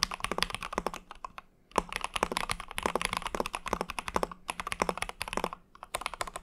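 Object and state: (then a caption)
Mechanical keyboard being typed on. Fingertips of both hands type rapidly on an Ikki Aurora R1, a compact mechanical keyboard with a hollow translucent mint-green acrylic case, an aluminum plate, white and mint PBT keycaps and Cherry MX Hyperglide switches. The result is fast, crisp clacking with short, dry key strikes centred around 1 kHz and bright upper clicks. The bursts of typing are broken by two brief pauses.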